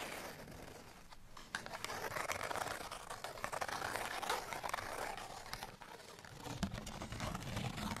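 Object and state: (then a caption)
Paper cardstock tag. A folded, printed cardstock tag is held up and scratched along its surface with fingernails. The result is a dense, bright, papery scratching and crinkling with quick irregular strokes, easing briefly near the start and again around six seconds before picking back up.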